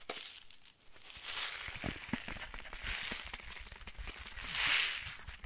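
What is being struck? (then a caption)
Foil-lined paper spice packet. A small, flat, green printed foil-lined paper spice packet, thin and flexible, is held in both hands and crinkled and squeezed with the fingertips. It makes a steady, bright crinkling rustle with sharp crackles throughout, swelling to its loudest crackle near the end.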